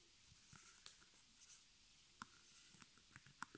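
Long nails scratch and tap the front fabric of a small square white stretched cotton canvas on a wooden frame, embroidered in black with crossed arrows and the letters HOME, with a hollow space behind it. Soft, bright scratching runs throughout, broken by five short, dry taps that stop instantly with almost no ring.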